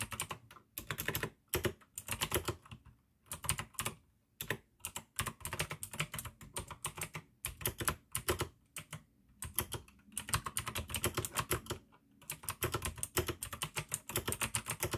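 Both hands type continuously with the fingertips on a full-size pink AUKEY mechanical keyboard with plastic keycaps and clicky blue switches. Rapid bursts of sharp, bright clicks over a low plastic thock are separated by brief pauses, and each keystroke dies away almost instantly.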